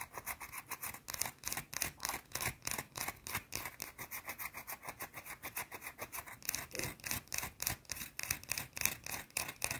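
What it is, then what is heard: Bar of soap scratched with fingernails. Long blue nails scratch and rub a small, round, flat, solid white soap bar in quick, uneven strokes. Each stroke is a short, dry, bright rasp with a slight squeak, and the strokes repeat rapidly in a steady scratchy stream with little low end.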